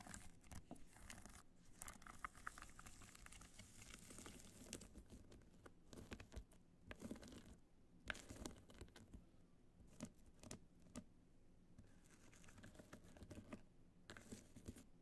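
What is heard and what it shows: Long nails scratch and tap quickly over the jeweled side and end of a small, hollow, black hard-shell evening clutch studded with multicolored rhinestones. The result is a dense, quiet stream of crinkly scratching and rapid dry clicks with sharp, bright transients that die out almost instantly, all over a low steady background rumble.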